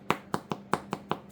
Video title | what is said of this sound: Jacob how I make bread | Hollow sound ... that's what you're looking for